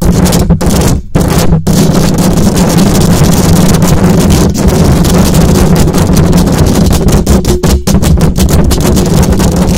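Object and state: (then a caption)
Metal microphone mesh grille being scratched. Long acrylic nails scratch fast across the hollow metal mesh grille of a silver condenser microphone, producing a dense, loud, continuous rasping roar heavy in low rumble with a steady low hum underneath. The scratching barely pauses, with only a few brief dips in the first two seconds and near the end, before it runs on unbroken.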